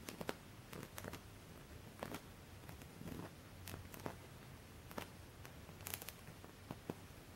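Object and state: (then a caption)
Embroidered cotton linen cloth. A single finger with a dark painted nail scratches along the raised cutwork stitching of a white embroidered cotton linen cloth laid flat. The result is a quiet run of short, dry, bright scratches, spaced irregularly over a soft low background hum.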